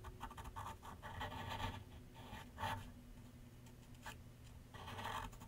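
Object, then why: Graphite pencil on paper sheet mounted on a board. A graphite pencil shades a large white paper sheet mounted on a flat board on an easel, making light scratching strokes. The soft, dry scratches come in short bursts and longer runs separated by brief pauses, over a steady low rumble.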